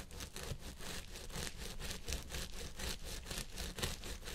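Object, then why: Synthetic fiber wig on a head form. Fingertips and nails of both hands vigorously scratch the fibers on both sides of a purple synthetic wig on a head form. The result is a dense, bright, rustling scratch in loosely rhythmic bursts, about two per second, over a steady low rumble.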